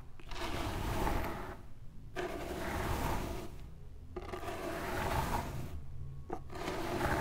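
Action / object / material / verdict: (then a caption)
scrape / pile of fine sand / sand / none. Two hands with long pink nails dig into a low mound of loose, pale fine sand spread on a glittery cloth, raking and scratching through it with fingertips and nails. A steady gritty scraping and rubbing with a heavy low rumble rises and falls in repeated passes, separated by brief quieter lulls.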